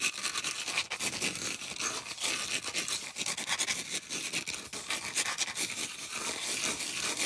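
Long acrylic nails scratch quickly across the flat surface and rim of a solid, thick, round white polystyrene foam disc. The result is a dense, bright, hissing scrape with rapid rough strokes and almost no low end.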